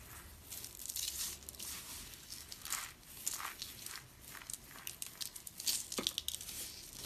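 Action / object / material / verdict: scrape / crushed soap flakes / soap / none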